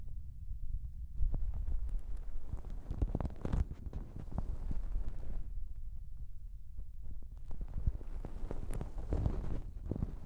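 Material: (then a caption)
Plastic. Long nails rub, scrunch and scratch a thin pink plastic shower cap stretched over a microphone. The result is close, boomy crinkling and scratching dominated by a deep low-end rumble, with bright crackly bursts. There is a quieter lull midway before the scrunching picks up again.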